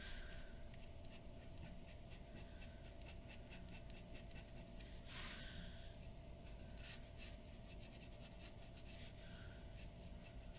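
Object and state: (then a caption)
Paper drawing sheet. The nib of a glass dip pen scratches across a large flat sheet of white drawing paper on a wooden table while shading. Quiet, bright, rapid scratching strokes run steadily throughout over a constant low hum, with a slightly louder stroke near the middle.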